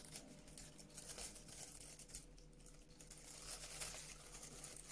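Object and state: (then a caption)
Kraft paper honeycomb wrap. A sheet of brown honeycomb-cut kraft paper packaging wrap is squeezed, crinkled and scratched with long nails. It makes a quiet, continuous papery crackle and rustle with bright, hissy highs and small irregular bursts, over a steady low hum.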